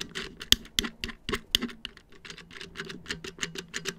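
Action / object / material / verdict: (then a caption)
tap / plastic back of a round wall clock / plastic / none. Fingertips tap quickly on the hollow, black molded plastic back panel of a round wall clock about 30 cm across, with its battery housing visible. The result is a rapid, irregular patter of dry, bright clicks with very short decay and a faint hollow low body beneath them.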